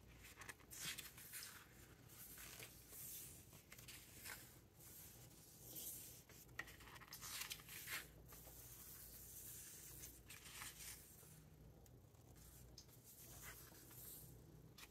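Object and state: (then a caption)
Paper book pages rubbed and turned. Fingertips rub across the glossy paper pages of a large open hardcover book and turn the pages. Soft, bright, papery swishes and crinkling rustles come in uneven bursts over a faint, steady low hum.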